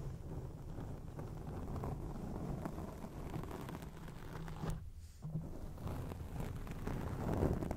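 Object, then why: Foam microphone windscreen. Long acrylic nails on both hands scratch a round grey foam windscreen on a microphone, producing a dense, muffled, low rumbling rustle with almost no high content. The scratching continues steadily, briefly drops out just before the 5-second mark, then resumes and swells slightly louder toward the end.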